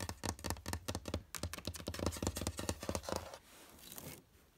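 Long red-painted nails rapidly tap and scratch a large, flat, light oak-effect laminated drawer front with a metal handle. Quick, dry knocks with a low thud and bright clicky edges fill the first three seconds. They give way to a softer, continuous scratching that fades out.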